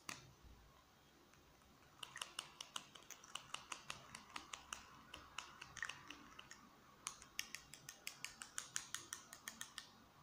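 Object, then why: Plastic marker pen. A small, hollow black plastic marker pen is held in both hands and tapped with fingertips and nails on its barrel and cap. Quick, bright clicking taps come in fast runs from about 2 to 7 seconds and again from 7 to 10 seconds. Each tap is short and dry and dies away almost at once over a faint hiss.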